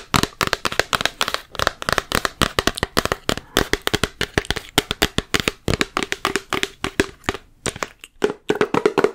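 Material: Plastic.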